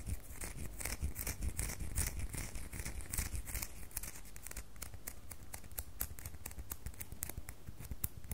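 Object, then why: Bar of soap. A solid red bar of soap with a textured, scraped surface is held in the hand and scratched with long fingernails, leaving shavings on the table. The result is a steady run of crisp, bright scratching strokes over a low rumble. In the latter half the strokes turn into sharper, separate ticks.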